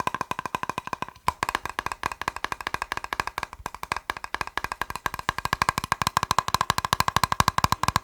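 A plastic box is tapped rapidly with fingers, giving a fast, uneven stream of short, dry clicks. Each tap is hollow and woodblock-like with a tone near 1 kHz and a bright edge. The taps die away almost instantly.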